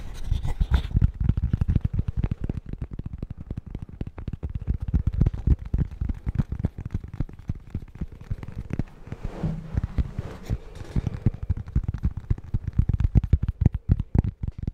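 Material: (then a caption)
Cork. A small, flat, solid square coaster with a cork back is held close to the mic and tapped and scratched quickly with fingertips and short nails. The result is a dense, irregular stream of dull, low, deadened taps with almost no ring, mixed with a few soft scratchy brushes near the middle.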